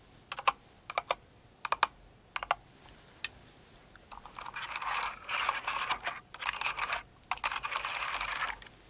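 Fingers with long nails type on a Cinnamoroll-themed mechanical keyboard with plastic keycaps. A few sparse, paired clicks give way to a fast, dense run of bright, clacky keystrokes centered around 1 kHz, with each tap dying away almost instantly.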